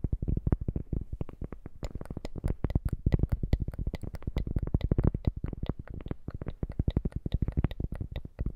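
A round, thin, solid cork coaster held in both hands is tapped and scratched with long manicured nails, in layered sounds. A rapid, steady stream of short, dull, low thuds comes through, and sharper, brighter clicks join in after about two seconds.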